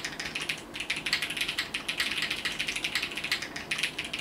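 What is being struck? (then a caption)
Mechanical keyboard with plastic keycaps. A compact Sunset 80 mechanical keyboard with multicolored plastic keycaps is typed on with the fingertips of both hands. About thirty quick, bright, clacky keystrokes follow each other in an uneven rhythm. Each one is a short click with almost no low end.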